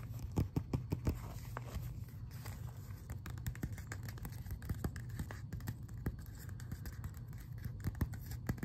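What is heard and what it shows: A closed glossy paper magazine is held upright while fingertips scratch and tap along its edge and glossy cover. Quick, dry taps and papery scratches sound over a steady low rumble, with several sharper clicks standing out near the start and a few more later on.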